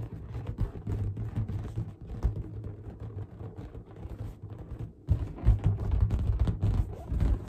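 Long dark-painted nails tap and scratch the surface of a large inflated pink latex balloon, hollow and air-filled, held up close. The result is a dense run of deep, muffled thumps and rubbery rustling, almost all in the low range and with no ring. After a brief lull around the five-second mark, it grows louder and boomier.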